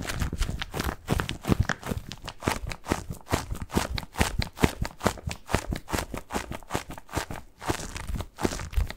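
A medium-sized, soft padded white bath tub pillow covered in textured plastic mesh is held in both hands and scratched with fingertips close to the microphone. Rapid, irregular crinkly scratching strokes follow one another, with a heavy low-end rumble and short, dry strokes that stop quickly.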